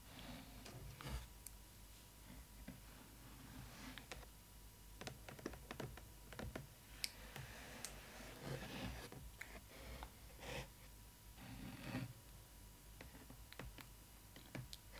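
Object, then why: Clear plastic window of a cardboard box. Long nails tap and scratch the clear plastic window of a cardboard doll box holding a Disney ily 4ever Stitch doll. Quiet, sharp, dry clicks land irregularly, mixed with brief bright scratchy rasps over a low, steady background rumble and a faint constant tone. Each tap dies away almost instantly.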